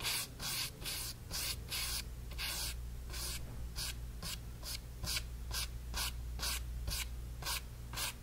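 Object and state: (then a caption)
Brush strokes on stretched cotton canvas. A flat brush is dragged in repeated vertical strokes across the pink-painted area of a small stretched cotton canvas panel. Each stroke makes a short, bright, hissy rubbing swish, and the strokes come at a steady brisk pace over a constant low hum.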